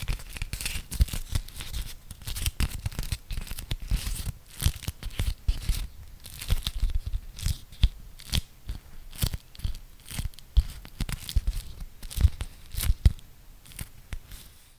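A beeswax-coated cotton food wrap, folded into a small square, is pressed and peeled apart by fingertips, its sticky waxed layers separating. The result is a dense, continuous run of crinkly, crunchy crackles and tearing-like peels, with bright, sharp snaps over soft low thumps.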